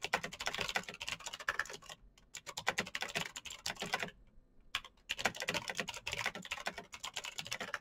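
Fast fingertip typing on a black Razer BlackWidow mechanical keyboard with plastic keycaps on clicky green switches. Dense bursts of sharp, bright clicks come in quick runs, broken by two brief pauses, each keystroke dying away almost instantly.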